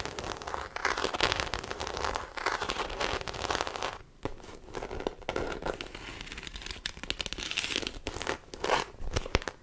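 Long acrylic nails scratch and tap the embossed surface of a small black croc-textured faux leather shoulder bag held close to the mic. The result is a dense, crackly run of scratching and rustling with quick bright taps throughout, dipping briefly into quieter patches before picking up again.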